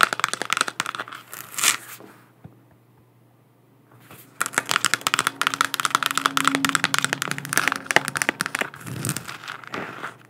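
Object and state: Plastic moon lamp.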